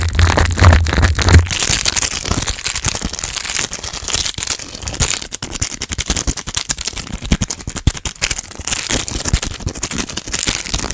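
An empty, flexible, small green printed plastic/foil snack wrapper is crinkled, rubbed and squeezed by fingertips with long black nails just above the microphone. The result is a dense, fast, irregular stream of bright crackles and crinkles, with a low rumbling thump under the first second and a half.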